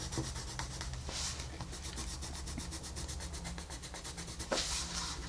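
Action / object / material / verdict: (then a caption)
scrape / colored pencil on paper coloring page / paper / none. A colored pencil scratches and rubs across a flat paper coloring book page around a wolf's eye, making a steady stream of quick, dry strokes with bright, papery hiss. Louder bursts of scraping come near the start and again toward the end, over a constant low hum.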